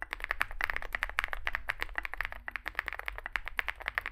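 Two hands type with their fingertips on a Zoom65 65% mechanical keyboard resting on a desk mat; it has a dark, likely aluminum case, white and grey SA-profile plastic keycaps and lubed switches. A rapid, uneven stream of short, dry key taps is heard, each a bright clack centered near 1.7 kHz that dies away almost instantly, over a faint low hum.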